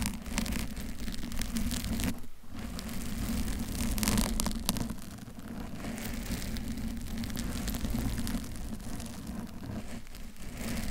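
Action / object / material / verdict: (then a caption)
scrape / foam microphone cover / foam / none. Long pointed acrylic nails on both hands scratch the lower front of a hollow, soft pink foam bear-shaped cover over a Blue Yeti microphone, while a blue cover sits nearby untouched. The result is a dense, steady rustling scratch with a heavy low rumble and a faint bright hiss, briefly dipping quieter around the two-second and ten-second marks.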